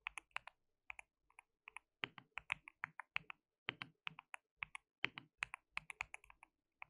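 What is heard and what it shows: Fingertips of both hands type on a white plastic mechanical keyboard with translucent keycaps. About 33 sharp, bright clacks come in quick uneven bursts, each stopping almost instantly with no low rumble. The typing is quiet and steady over the seven seconds.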